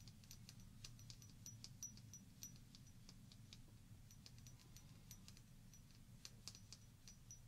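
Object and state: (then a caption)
Glass shot glass with water. A small hollow glass shot glass, partly filled with water and held in the fingers, is tapped with long painted fingernails. The taps come as a quick, irregular run of bright, high clicks that die away almost at once. A steady low hum sits underneath throughout.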